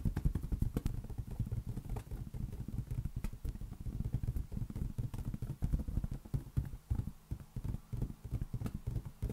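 A large, hollow, inflated green latex balloon rests on an open palm and is tapped with the fingertips of the other hand. The result is a rapid, continuous run of dull, deep, booming thumps that are very short and low, with faint bright clicks from the fingertips.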